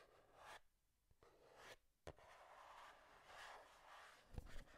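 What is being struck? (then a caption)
Small cardboard box. Long dark-painted nails scratch across the surfaces of a hand-sized, hollow, printed cardboard Game Boy retail box held close to the microphone, producing soft, bright rasping strokes. Three sharp taps on the box stand out, the last two close together near the end.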